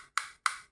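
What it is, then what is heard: Hollow plastic computer mouse. Two sharp knocks on a hollow plastic computer mouse give a bright, clicky tap with its main tone around 1.2 kHz, each dying away within about a quarter second. The hollow mouse sounds different from a solid microphone knocked for comparison.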